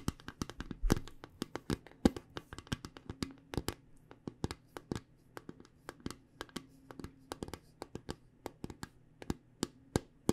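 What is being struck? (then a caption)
Small round metal tin. A small round metal tin of the Spot It card game with a purple lid is held in both hands and tapped on its side with long painted nails. Quick, irregular dry clicks follow one after another for about ten seconds, each stopping almost instantly with no ring. The taps sit quietly over a faint steady low hum.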